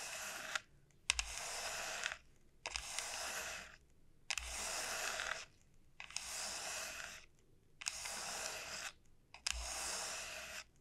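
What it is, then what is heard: Dried bottle gourd. Long nails tap and scratch the hard, hollow shell of a large, elongated dried bottle gourd. About seven bright, rasping scratching bursts are heard, each roughly a second long and often opening with a sharp tap. Short silent gaps separate the bursts.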